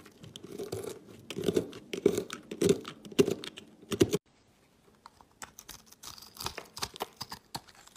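A knife blade carves ridges into a marbled green and yellow soap bar, flaking pieces off it. Crisp, crunchy scraping strokes with a full low-mid body repeat unevenly for about four seconds, then stop briefly. Quieter, thinner scraping resumes.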